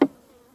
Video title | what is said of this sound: UNE SAISON AUX ABEILLES - S02E01 - "Reprise tranquille & candi mouillé" | forcément ça sonne très creux